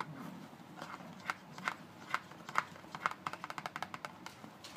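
A fingertip taps and scratches near the end panel of a closed paperboard Colgate toothpaste carton, about 20 cm long, held flat in both hands. Soft scratchy rustling gives way to 16 short, dry taps with a papery knock centred near 1.4 kHz and a bright, brief click. The taps come quicker and closer together toward the end, with quiet scraping between them.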